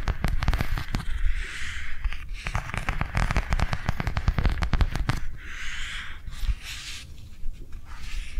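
Long nails tap quickly on the cover and spine of a small white plastic cardholder book lying on a table. The result is a fast, dense run of short, dry clicks with a low thudding body, broken by brief soft brushing or rustling sounds between bursts.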